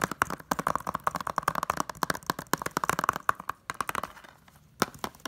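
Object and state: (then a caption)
Plastic disc case. Long nails and fingertips tap rapidly on the front cover of a closed, hollow, thin blue plastic Blu-ray case holding a disc. The sharp, dry clicks have a hollow ring around 1.1 kHz and die away almost instantly. After a brief lull, a few more taps close the clip.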